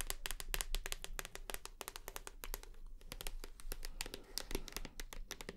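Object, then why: Plastic shower gel bottle. Long nails tap quickly on the side and front of a full white plastic shower gel bottle. The result is a rapid, steady run of short, dry clicks with a hollow plastic tone around 390 Hz. Each tap dies away almost at once over a low background rumble.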